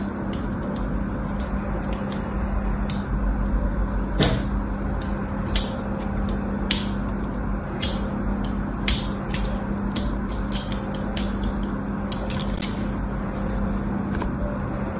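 A utility knife scores diagonal lines into a solid white bar of soap resting on a blue cloth, and the bar is then lifted to show the pattern. Short, crisp, bright clicks and scrapes from the blade sound irregularly over a steady low hum.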